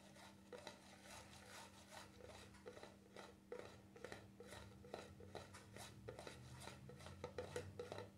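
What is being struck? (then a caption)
Plastic cream jar lid. Fingertips tap irregularly on the black plastic lid of a small cream jar with a red and white label. The taps are quiet, dull and hollow, with a faint knock around 490 Hz and a bright edge that dies away almost at once. A steady low hum runs underneath throughout.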